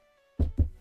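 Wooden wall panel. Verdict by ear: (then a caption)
Real. Two dull, low thumps from knuckles knocking on a real wood panel behind the host, done for luck with the weather. Each knock is deep and short, with almost no high end and little ring. A faint steady hum sits underneath before the knocks.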